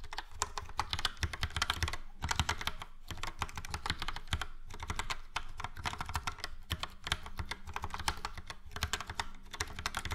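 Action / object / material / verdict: tap / plastic mechanical keyboard / plastic / none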